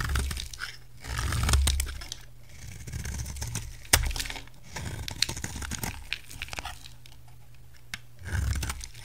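A solid white rectangular bar of soap is shaved with a utility knife blade held against its edge, and crisp flakes fall away. The sound is a run of dry, crunchy scraping and crackling strokes with sharp clicks and bright edges over a low rumble. The strokes swell and fade in bursts, with distinct snaps around the middle.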